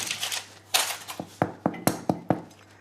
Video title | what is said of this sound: Le phénomène du pain maison qui séduit les Français – Tout Compte Fait | Si ça sonne creux, c'est que c'est bon. Et que c'est cuit.